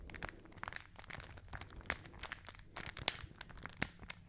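A folded newsprint newspaper, held in both hands close to the microphones, is crinkled, squeezed and rubbed with fingertips and long nails. The result is a quiet, continuous stream of dry, bright paper crackles and crunches. A few sharper snaps stand out near 1.9, 3.1 and 3.8 seconds.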